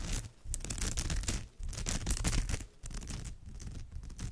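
Long almond-shaped nails scratch across the surface of a woven straw bag with both hands. The result is a dense, continuous rasping texture with a heavy low rumble and bright crackly edges. It comes in bursts separated by brief dips in loudness.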